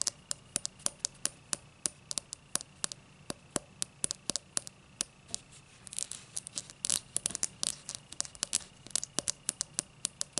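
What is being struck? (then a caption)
Cut crystal highball glass. Long black nails tap and scratch the cut base of an empty, tall cut-crystal highball glass. Around fifty sharp, bright clicks come through quick and dry, with a faint steady high hum behind them. Near the middle, a denser burst of scratching blurs the clicks together.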